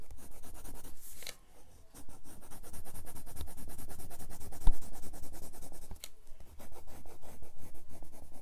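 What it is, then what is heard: Pencil strokes on a sketchbook page. A red colored pencil rubs and scratches short, rapid strokes across the page of a spiral-bound grey paper sketchbook lying flat on a desk. The steady, rhythmic scratching has a dry, papery texture, with brief pauses near 1.5 and 6 seconds before the strokes resume.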